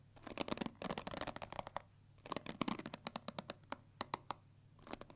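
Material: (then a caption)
Plastic. Long nails run along and flick the black plastic pins of a pink plastic paddle hair brush. The result is quiet, dry, scratchy ticking and clicking in dense bursts, then sparser single bright clicks that stop instantly with no ring.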